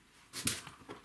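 Dried, completely hardened clumps of Slime Premium sealant roll around inside an opened bicycle tubeless tire casing as it is spun, after a year in use. They make a short series of light, bright pattering and rattling taps with little low end. The sealant has fully dried out.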